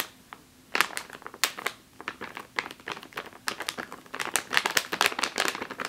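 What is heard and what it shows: A full plastic bag of flour is squeezed with both hands, then tapped with fingernails. After a brief quiet start, dense bright crinkles and sharp crackling clicks follow one another rapidly, each dying away almost instantly, with no low rumble beneath.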